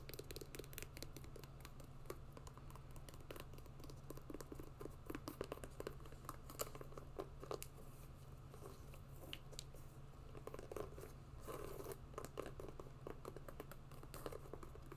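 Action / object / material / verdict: scrape / hiking sneaker with mesh and synthetic upper / mesh / none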